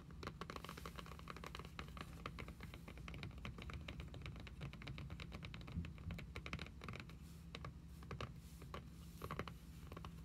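Long pink acrylic nails tap and scratch the front of a closed red hardcover journal with an embossed, cloth-covered cardboard cover, lying flat on a wooden table. Rapid, dense, quiet clicking taps run throughout with short dry scratches, over a steady low hum.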